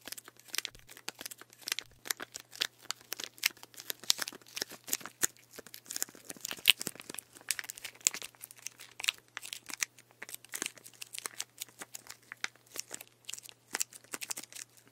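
Fingertips tap and scratch the label and plastic of a full plastic sports drink bottle of green drink with an orange cap, held upright in both hands. A dense stream of quick, bright clicks and crinkly scratches runs throughout, each sharp and dry with almost no ring.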